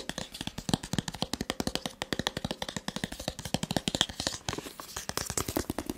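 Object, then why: Cardboard smartphone box. A rigid white cardboard smartphone box, held in the hand, is tapped rapidly with the fingertips in a continuous run of about fifty quick, dry taps over six seconds. Each tap is short with a hollow low thump and a bright papery click, and the rhythm stays dense and steady throughout.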